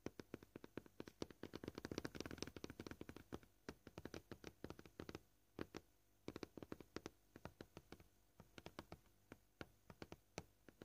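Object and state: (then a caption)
Plastic cutting board. Short painted fingernails on both hands tap quickly across a flat, solid, scratched white plastic cutting board. The dry, clicky taps have no ring and sit mostly in the low mids. They come in a dense, fast flurry at first, then thin into irregular bursts separated by brief quiet gaps.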